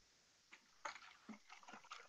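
A plastic tub of liquid magnesium reef supplement, soaked in hot water in a sink, is shaken. A few short, sloshing rattles are heard as crystals knock around inside the liquid, showing that they have not dissolved.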